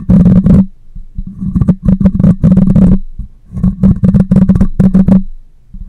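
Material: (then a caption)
Metal mesh. Long nails scratch and fingers rub across the metal mesh grille of a black microphone, making bursts of deep, booming rumble with brighter scratchy rasps on top. The grinding comes in uneven clusters separated by brief, quieter gaps, and each burst dies away quickly.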